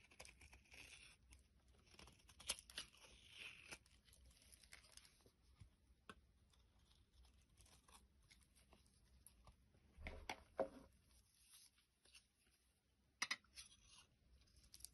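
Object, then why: Bar of soap. A metal utility blade scrapes a solid orange bar of soap, with a second bar lying behind it. Quiet, bright, crinkly scraping and tearing sounds continue throughout, broken by a few sharper clicks and cuts near the start, around the middle and toward the end.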